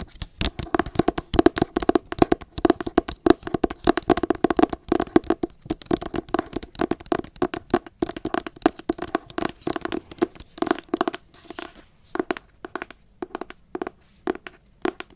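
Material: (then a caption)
Cardboard. Long acrylic nails rapidly tap and scratch the cloth/paper cover of a teal hardcover book held up close, making a dense stream of short, dry clicks with a hollow, mid-pitched knock around 330 Hz and almost no ring. The tapping runs steadily through most of the clip, then thins out into sparser, spaced taps toward the end.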